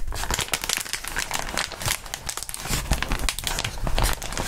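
Gloved fingertips squeeze and crinkle a crumpled sheet of clear plastic bubble wrap close in front of the microphones. A continuous stream of dense, bright crinkling and crackling snaps rises and falls in loudness over a low rumble for the whole clip.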